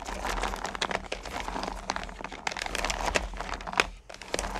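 Hands with long nails stir and rake small solid candy corn pumpkins in a purple plastic bucket. The result is a dense, continuous stream of bright clicking, rattling and crinkling as the candies tumble against each other and the plastic, with a faint low hum underneath. The sound dips briefly near the end before resuming.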